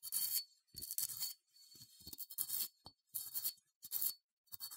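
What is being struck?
Small unglazed ceramic figurine.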